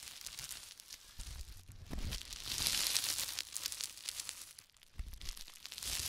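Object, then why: Plastic bubble wrap sheet. Fingertips press, squeeze and crumple a sheet of clear plastic bubble wrap with air-filled bubbles on a wooden table. The result is a dense, bright, irregular crinkling and crackling, broken by a few duller, lower thumps as the wrap is pressed down.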